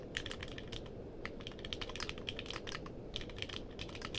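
Fingertips type steadily on a compact mechanical keyboard with a purple case and plastic keycaps. The keystrokes come as rapid, short, bright clacks that die away almost instantly, over a steady low-frequency background noise.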